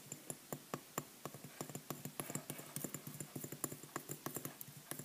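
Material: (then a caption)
Pressed powder. Long nails tap and scratch across the surface of a solid pink clay bath bomb made of pressed powder, about the size of a tennis ball and held in a hand. Around thirty quick, dry, short taps follow one another, with a faint scratchy hiss between them.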